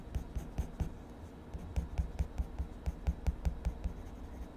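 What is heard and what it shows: A purple wood-cased colored pencil is rubbed and scratched across the page of a spiral-bound paper sketchbook lying flat on a desk, shading a mushroom drawing while the other hand steadies the pad. About fifteen short, dull, low strokes are heard at an uneven pace, each with a faint bright scratchy edge and almost no ring, over a quiet papery rustle.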